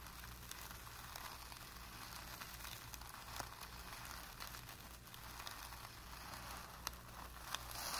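A flat paintbrush with light blue-tinted bristles is pressed and flexed against a blank white primed cotton painting canvas stretched flat and taut, scrubbing and dabbing across the surface. The result is a quiet, continuous bristly rub and scratchy rustle with a few sharper dab clicks, over a faint steady low hum.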